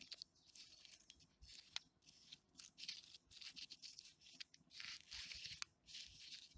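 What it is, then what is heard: Rough tree bark being scratched. Fingertips and nails scratch and tap along the ridges of thick, deeply furrowed bark on a large, solid, living tree trunk. Quiet, bright, dry rasping comes in short crinkly bursts separated by brief pauses, with a few sharp taps that die away almost instantly.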